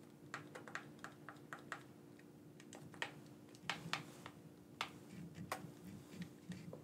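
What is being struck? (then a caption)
Plastic game controller. A black, corded PlayStation-style gamepad with a hand-sized hollow plastic shell is held in both hands while fingertips and thumbs press and click its buttons and sticks. Sharp, dry plastic clicks and taps come in irregular bursts, some louder and brighter than others, over a faint steady low hum.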